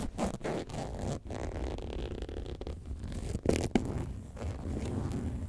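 Long nails scratch the side and front of a hollow, upright, box-shaped faux leather bag shaped like a lemonade carton. The result is a steady series of dull, low scratching and rasping strokes with little brightness. Two slightly louder scrapes stand out near the end.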